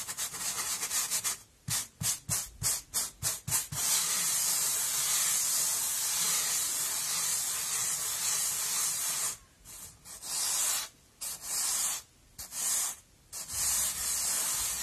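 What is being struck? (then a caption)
Foam kitchen sponge. Fingers press, squeeze and rub a small rectangular porous foam kitchen sponge against a table surface, making a bright, hissy rubbing and crackling. A quick run of short, separate strokes gives way to several seconds of steady rubbing, then more bursts broken by brief pauses.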